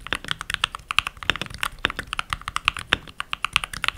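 Fingertips with short nails, with rings on the fingers, type continuously on a full-size backlit mechanical keyboard with pink plastic keycaps. About 30 quick, dry clacks come in an uneven stream, each one bright and sharp with almost no low end and a very short ring.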